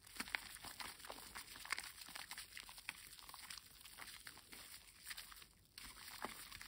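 A solid rectangular green bar of household soap, wet and lathered, is turned and rubbed between both bare hands over a basin of foam. Soft, bright squelching and crackly lathering sounds carry on steadily, with short wet clicks and pops throughout. A brief quieter stretch comes before the rubbing resumes.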